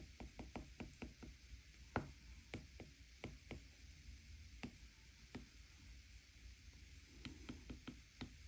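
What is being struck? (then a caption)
Stylus tapping a glass tablet screen. A plastic stylus tip taps on the solid glass touchscreen of a flat iPad tablet, filling in areas in a steady run of taps while the other hand holds the bezel. Short, dry knocks with a low thump and a bright click land in uneven clusters, each dying away almost at once over a quiet, steady background.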